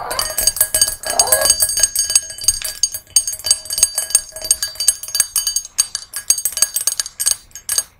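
Long nails tap and scratch the rim and sides of a small, hollow, empty brass singing bowl resting on a red cushion. Rapid, uneven, bright metallic clinks and scraping layer over thin, high, sustained ringing tones.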